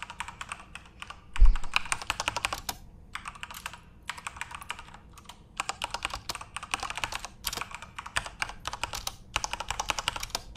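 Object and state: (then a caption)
Plastic mechanical keyboard. Both hands type rapidly with their fingertips on a full-size Corsair RGB-backlit mechanical keyboard with plastic keycaps. Dense bursts of bright, crisp clacks are broken by brief pauses, and a heavier low thump sounds early on.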